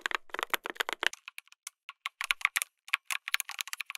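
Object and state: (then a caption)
Mechanical keyboard with plastic keycaps. Rapid fingertip typing on a full-size backlit mechanical keyboard, a MonsGeek M1 with an FR4 plate, tactile switches, plastic keycaps and a solid case. A quick run of about 22 short, bright clicky key presses with no low end and almost no ring comes in dense bursts, with a sparser stretch in the middle before the typing speeds up again.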